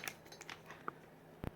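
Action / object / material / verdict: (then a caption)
shake / plastic game controller / plastic / tight. An original plastic Nintendo NES game controller is shaken for comparison, giving only a few faint, dry clicks and light ticks over quiet background noise. It sounds solid with almost no rattle, just a slight bit of play.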